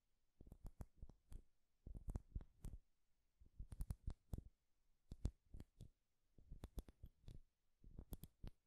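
A small, solid, yellow turned-wood game piece is held in the hands and tapped and scratched with the fingertips and nails. Quiet, dull, low knocks with short bright clicks come in about six quick clusters separated by brief silences, each sound dying away almost at once.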